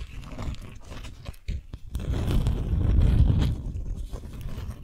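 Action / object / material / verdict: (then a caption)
scrape / beeswax-coated cotton sheet / waxed cotton / none. A folded beeswax-coated cotton sheet is held in both hands while long nails scratch and tap the stiff, waxy fabric. Soft, low crinkling and rubbing are broken by a few sharp, bright taps near the start, then the scratching thickens into a louder, denser rustle that peaks around the middle and eases off toward the end.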